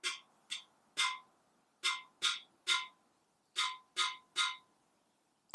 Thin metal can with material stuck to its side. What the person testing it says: you can hear that it's not ringing out as much the pitch is a little bit lower